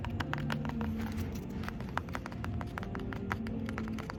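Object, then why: Wooden cafe table. A wooden cafe table is tapped and scratched, giving many short, sharp knocks with a quick dry decay. Steady low-pitched background music and room hum continue underneath throughout.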